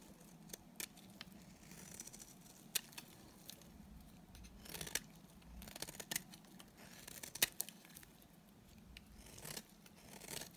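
A solid, dry white bar of soap held in the hand is shaved along its edge with a utility knife blade. The result is a quiet run of bright, crisp scraping strokes broken by sharp, short clicks, with longer hissing scrapes swelling near the middle and end.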